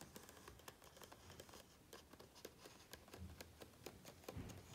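Fingertips of both hands rub and scratch across the glossy coated paper pages of a large open hardcover book. Quiet, dry, bright scratches and crisp ticks repeat in a steady, uneven patter over a soft low rumble, with each sound dying away almost instantly.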